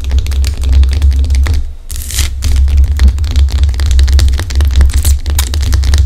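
Long decorated acrylic nails scratch and tap the craggy surface of a large, solid, rough-cut pink Himalayan rock-salt lamp held in the hands. The result is a dense run of quick, crisp clicks and scratchy rasps over a steady low hum, with a short lull near the two-second mark followed by a bright, hissy scrape.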